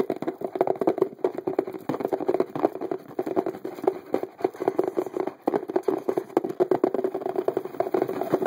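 The top edge of a medium-size, hollow printed cardboard box labeled "Car series" is tapped quickly with the fingertips and nails of both hands. The result is a steady, rapid patter of short, dry taps with a hollow midrange tone and almost no deep bass.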